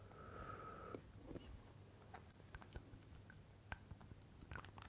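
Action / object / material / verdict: tap / small glass bottle tapped with fingernails / glass / none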